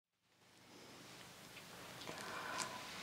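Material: Nothing is struck.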